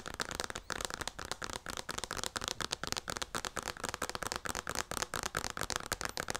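Long nails tap and scratch the front of a hand-sized white plastic lotion pump bottle with a yellow label. About 25 quick, dry clicks and scratchy bursts sound bright and crackly, with almost no ring after each.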